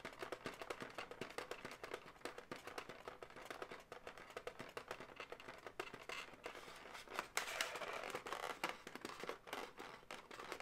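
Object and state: Inflated latex balloon animal.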